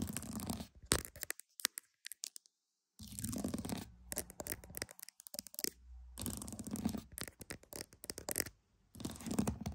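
Pearls are tapped and scratched, giving quiet, dense clicking and rustling scrapes with a low rumbling body. The sound runs in bursts separated by near-silent gaps, including a full pause around 2–3 seconds.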